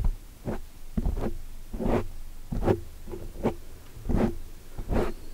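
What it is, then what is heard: Foam microphone windscreen being scratched. Both hands with long dark-painted nails scratch and brush the soft, porous surface of a large black foam windscreen over a microphone, using nails and fingertips. Each stroke comes through as a muffled, bass-heavy rustling thump with a quick fade, repeating at an uneven pace with no bright hiss.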